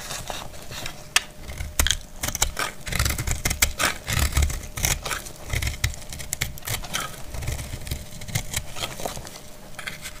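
A palm-sized, translucent amber glycerin soap bar, solid, dry and frozen, is held in the hand and shaved with a metal utility blade, scraping and cutting off crumbly flakes. Dense, crisp scrapes and sharp, bright clicks snap out in quick, uneven bursts over a low, rumbling background.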